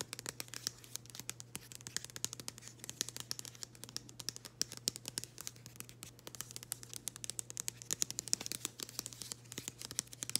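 Long green acrylic nails scratch and tap on a small, flat, thin printed cardboard nail-product package with a floral pattern, held in the hands. A rapid, quiet stream of bright, dry clicks and scratchy rasps plays for about ten seconds, each tap dying away almost instantly. A steady low hum runs underneath throughout.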